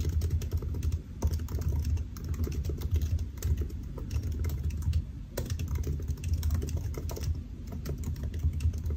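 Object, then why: Laptop keyboard with plastic keys on an aluminium body. Fingertips of both hands type steadily on the black plastic keys of a solid silver aluminium laptop resting on a white desk. The taps are quick, soft and dry, blending into a continuous muffled clatter. A steady low hum sits underneath for the whole clip.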